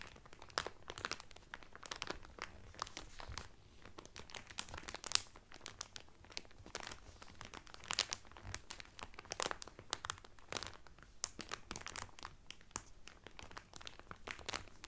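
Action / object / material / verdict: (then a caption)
scrape / cellophane-wrapped cotton towel / cellophane / none. Fingertips and nails crinkle the clear cellophane wrapper around a blue Carnival cotton towel folded flat. Quiet, bright, crackling crinkles come in dense, irregular bursts with sharp, dry snaps and almost no ring, over a faint low background.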